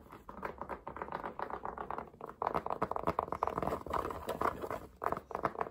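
Fingertips and nails tap and scratch quickly and forcefully on the crown and curved brim of a black cotton baseball cap with a CAT logo, worn on the head. A dense run of dry, papery taps and scrapes centers in the midrange around 1 kHz with little bass, each contact dying away almost instantly. The patter grows louder and busier after the first couple of seconds.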